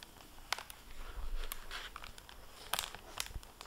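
Fingertips and nails handle and bend the plastic-covered paper dust jacket flap of a hardback book lying open, making soft, dry crinkling. Sharp, bright crackles and ticks stand out over a quiet, steady rustle and low rumble.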